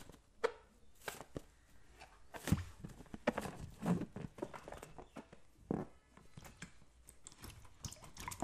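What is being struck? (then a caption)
Latex balloon filled with water. A green latex balloon filled with liquid is patted and squeezed with both hands, while a second balloon sits idle nearby. Irregular soft, squishy slaps and dull thumps sound close and low, each fading quickly, with a few sharper, louder pats standing out among quieter sloshing contacts.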